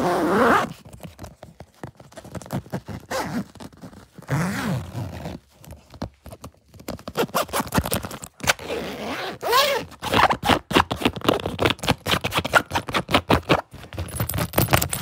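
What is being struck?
Soft nylon fabric suitcase with metal zipper.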